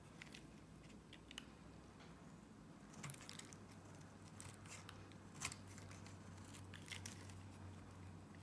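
A box-cutter blade slices shavings off the edge of a solid pink Nivea soap bar. Quiet, dry crackling scrapes come in short bright bursts over a steady low hum, with a few sharper cuts standing out.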